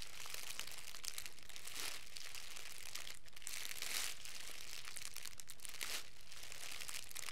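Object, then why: Thin clear plastic film. A hand-sized bundle of thin, clear plastic cellophane wrap is squeezed and crinkled by the fingertips of both hands. It makes a continuous, bright crackling with dense high crinkles that swell in brief louder bursts. The level stays steady throughout.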